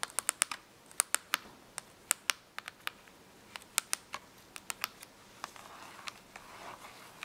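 Long nails tap and scratch the top and edge of a small closed box of washable markers made of cardboard, lying on paper. About 25 sharp, dry, bright clicks land in quick, uneven bursts with almost no ring, and no low end. Near the end comes a softer, hissy scratching.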